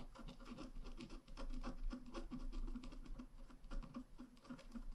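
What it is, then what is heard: Scratch art paper card being scratched. A wooden stylus scratches lines into a flat black-coated scratch art paper card held down with one hand, near a drawn bicycle. Quiet, dry scraping strokes come in quick, uneven bursts with soft papery rasps and a low rumble underneath.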